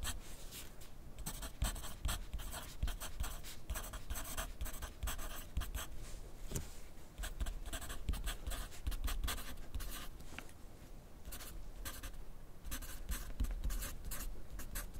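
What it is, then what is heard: Pencil writing on paper on a clipboard. A wooden graphite pencil is drawn across a thin grid paper sheet clipped to a flat clipboard on a desk while writing. Steady bursts of dry, bright scratching come stroke after stroke, with a low, soft rumble underneath and brief quieter pauses between runs of writing.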